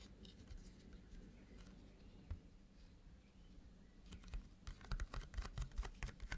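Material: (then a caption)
Cardboard. Hands in lace fingerless gloves tap and scratch the printed foil surface of a flat rectangular holographic cardboard box for the Grimoire eyeshadow palette, which lies on a black cloth. Quiet, soft fingertip and nail scratching gives way in the second half to a quicker, irregular run of sharper, dry taps with short bright clicks over a low, muffled thud.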